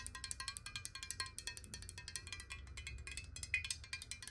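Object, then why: Glass bottle with water. Long nails of both hands tap quickly on a clear, hollow square glass bottle holding water. A rapid stream of quiet, bright, clicky taps sounds with short glassy rings, over a faint low rumble.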